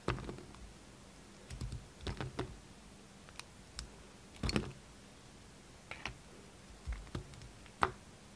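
A hand-sized, solid pink-and-white striped bar of soap, held in the hand, is carved with the steel blade of a red utility knife. It makes quiet, crisp scraping and cutting clicks in short, irregular bursts over a faint, steady low hum.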